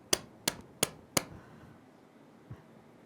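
A rubber toy horse is tapped four times in quick succession, each a sharp, bright, very short tap with almost no ring. A softer low thump follows about a second later.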